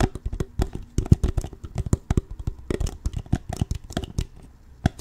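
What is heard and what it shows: An empty, crumpled, hollow clear plastic water bottle of about 0.5 L with a blue label is held sideways in both hands while fingertips squeeze, tap and crinkle its ridged plastic walls. A rapid, irregular run of short, dull, low-pitched taps is heard, each dying away almost at once, mixed with brief crisp crackles of the plastic.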